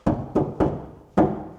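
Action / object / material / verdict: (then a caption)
tap / steel van door panel without sound deadening / sheet steel / hollow. An untreated steel Sprinter van sliding door panel, still in factory condition without sound-deadening mats (apparently to save cost), is tapped five times, the last tap cut off at the end. Each tap gives a hollow, drum-like thunk with a low-mid tone that rings briefly before fading. This marks the bare panel as resonant and undamped.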